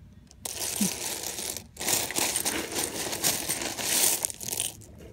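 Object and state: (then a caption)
Pile of mixed plastic and metal buttons. Fingers rummage through a large loose pile of small mixed plastic and metal sewing buttons, making them clatter together. The dense, bright rattling comes in bursts: a short stretch, a brief pause, then a longer run, fading into a quieter trailing clatter.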